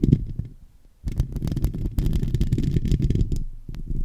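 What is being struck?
Metal mesh microphone grille.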